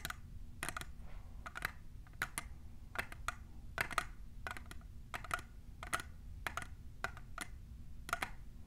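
A tall, hollow, clear printed plastic tumbler is tapped on its sides by both hands' long nails fitted with plastic clips. The result is a quick, irregular run of sharp, clicky taps with a faint hollow tone around 1.3 kHz that dies away almost at once, over a steady low background hum.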